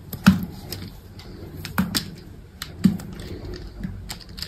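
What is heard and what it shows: A small solid white bar soap cube, held in the fingers, has slices cut off with a utility knife. Soft crisp scraping and clicking cuts come in an uneven series, with a few louder low thuds among quieter ticks. The sounds are dry and short, with a dull body and faint bright edges.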